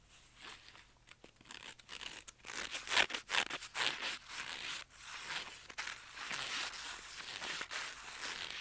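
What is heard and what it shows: Fingers scratch and rub the textured surface of a flat black fabric-covered zippered CD wallet with a mesh panel, lying on carpet. The sound is a fast, irregular run of dry, bright rasping strokes with a crinkly, tearing texture and no low end.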